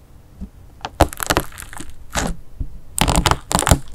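A fingertip pokes and presses into the thin hardened melted-wax crust on a flat mint-green disk of play foam clay mixed with slime, which sits on a sheet on a table. The crust cracks with a series of short, sharp, bright crackles and crunches, dying away almost at once, between quieter stretches of soft squishing.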